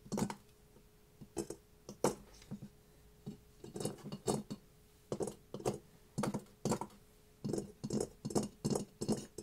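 A ceramic mask is tapped for ASMR, producing bursts of short, bright clinking taps in quick clusters separated by brief pauses. Each tap dies away almost at once, with a faint ringing tone near 480 Hz lingering underneath.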